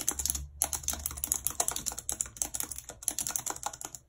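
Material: Plastic.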